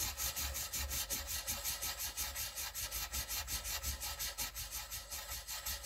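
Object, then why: Wooden colored pencil on a paper sheet. A green wooden colored pencil rubs back and forth on a white paper coloring sheet, shading a letter. The result is a steady, bright, scratchy rasp in quick regular strokes, close to three per second, with a faint low hum underneath.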